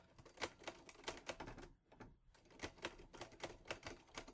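Fingertips type on the keys of a teal metal Olivetti Lettera 22 portable typewriter, giving quick, bright clacks that stop short with almost no ring. A run of keystrokes breaks off for a brief pause near the middle, then resumes at the same steady pace.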